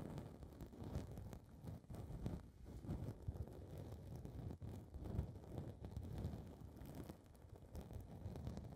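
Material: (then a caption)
Foam. Long red nails scratch and rub a small blue foam windscreen ball on a recorder's mic capsule, producing a continuous muffled, rumbling crackle. The sound is deep and dull, with almost no high or bright content, and rises and falls in quick rustling bursts throughout.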